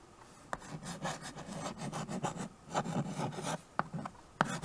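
A stick of white chalk scratches across the dark surface of a small, flat chalkboard in a wooden frame while writing cursive names. Raspy, rubbing strokes of varying length run close together, broken by a few sharp taps as the chalk meets the board. The scratching sits mostly in the low-mid range, with a faint bright hiss on top.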